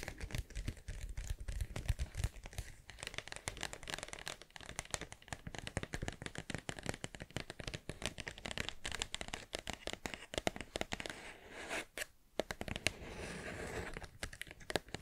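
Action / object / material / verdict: scrape / paper-wrapped cardboard tube / cardboard / none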